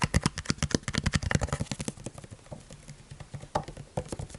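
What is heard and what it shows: A large, partly full clear PET plastic bottle of sunflower oil is held in the hands and tapped rhythmically with the fingertips. A quick run of short, dull, hollow taps follows, low and thumpy with very little ring. The taps grow softer and denser in the middle before a few louder taps near the end.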